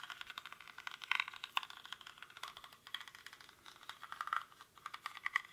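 Fingernails scratch the weave of a small, hollow woven rattan or reed basket held in both hands, its contents not visible. A rapid, dry crackling of tiny clicks and scrapes comes in uneven bursts, bright and papery with almost no low end. The ticks stop short with no ring, leaving a quiet, fine rustle between louder flurries.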